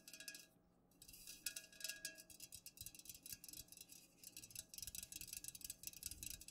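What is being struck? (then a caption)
Aluminum drink can tapped with fingernails. Long nails tap rapidly on the sides of an unopened, full Pepsi aluminum soda can standing upright. The taps are quick, bright, thin clicks that die away almost instantly. A short pause near the start breaks an otherwise steady stream.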